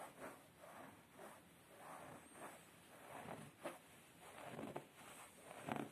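Fingertips and short nails rub and scratch a beige, woven-fabric, padded upholstered chair seat. It makes quiet, soft, airy scratching swishes in repeated short strokes, broken by a few sharper, brighter scrapes.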